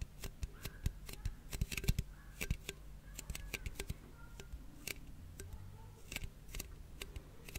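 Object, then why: Closed aluminium drink can. A closed red aluminium cola can, held close to the microphone, is tapped and scratched with fingernails. Many quick, sharp clicks and light scratchy rasps come in irregular bursts, each dying almost instantly, over a steady low hum.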